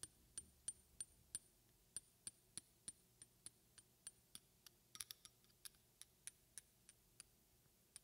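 A small, slim glass roll-on perfume bottle with a silver metal cap is held in one hand and tapped with the long red-painted fingernails of the other hand. About 25 quick, bright clicks sound at a steady pace, with a brief cluster near the middle. Each tap is a sharp, high glassy tick that dies away almost instantly over a quiet background.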